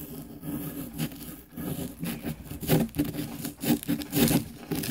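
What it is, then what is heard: Plaster dig block being scraped. A small light-colored pick tool held in the fingertips scrapes at a small solid green plaster excavation block from a diamond dig kit, which rests on a paper plate. Repeated short, gritty scraping and rubbing strokes come in uneven bursts, each with a dry, low-mid body and a faint bright hiss on top.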